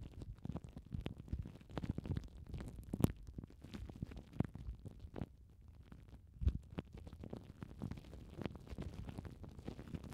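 Long painted nails scratch and crinkle loose clear plastic cling film wrapped over foam mic windshields. Dense, soft crackling and rustling, mostly low and muffled, with a few sharper pops standing out.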